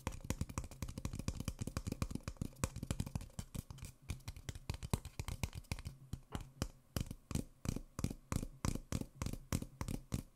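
An empty, small, hollow white paper coffee cup is tapped with fingertips and nails across its side, then turned over at the end to show its open rim. A fast, steady stream of dry, crisp taps follows, each with a hollow low thump and a brief bright click that dies away almost instantly. The tapping is dense at first and spreads into more distinct, evenly spaced taps later.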